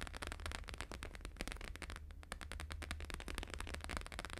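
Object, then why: Plastic-laminated paper sheet. Fingertips and nails of both hands tap fast on a thin, flexible, flat square sheet of plastic-laminated holographic paper lying on a fur rug. The result is a dense stream of sharp, crisp clicks with bright crackle over a steady low hum.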